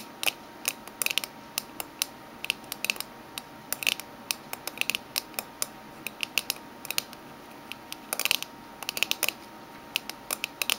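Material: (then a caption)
Aluminium. A small, closed oval aluminium Minteas mint tin with a green lid and orange band, lying on a red table, is tapped with the medium-long fingernails of both hands. The result is bursts of sharp, bright clicks and quick rattling flurries that stop instantly with no ring, over a faint steady hum.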